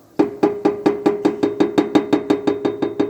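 Steel exhaust pipe of a Jeep Compass knocking against the tow hitch bracket as the rear of the car is shaken, the same noise it makes over potholes. Sixteen short metallic knocks repeat at a steady pace, each with a brief ring. The hitch sits too close to the exhaust and looks slightly bent, leaving a contact mark where the parts touch.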